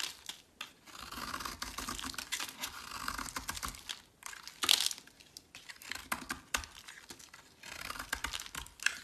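A solid teal bar of soap, held in the hand, is shaved and carved with a metal utility blade. Bright, crisp scraping strokes alternate with short crackly cuts and brief pauses. The sound stays dry and close, with no lingering ring after each stroke.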